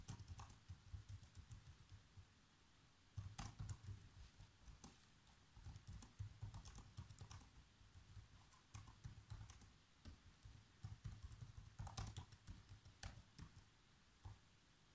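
Fingertips type steadily on the black plastic keys of a laptop keyboard, producing quick, short clicks and taps in irregular bursts with brief pauses. A low, steady hum sits beneath the bright key clicks throughout.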